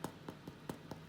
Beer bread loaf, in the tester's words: when you tap it, it sounds hollow. That means it's cooked in the middle.